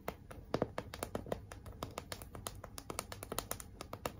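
Long acrylic nails rapidly tap and scratch across a large, flat pink cardboard "Be Mine" heart sign and its glitter letters. About thirty short, dry taps ring out over a soft, continuous scratching hiss. Each tap has a hollow, papery midrange knock and dies away almost instantly.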